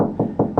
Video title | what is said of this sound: The ultimate Ratrig V-core 4 enclosure build out of oak(ish) Part 1 | this is very noisy when we tap on it